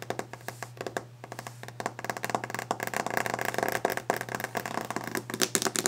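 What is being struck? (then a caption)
Varnished wooden desk top. Long orange-painted fingernails tap and scratch fast and aggressively on a large, solid, varnished wooden desk top. The clip is a rapid stream of sharp, dry clicks with very short ring, mixed with scratchy brushing, over a steady low hum. The tapping grows denser and louder toward the end.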